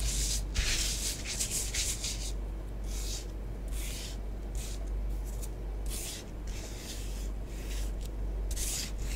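A long fingernail traces letters and rubs through orange bath bomb powder spread on a tabletop. Repeated bursts of soft, bright scratching strokes rise and fall over a steady low hum.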